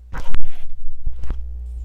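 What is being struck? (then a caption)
Cast chalk block. A metal blade tool scrapes and chips at a solid, red popsicle-shaped cast chalk block held in a hand, and red chalk flakes fall onto a plastic sheet. Short, gritty scraping bursts rise over a steady low hum, then fade back to the hum.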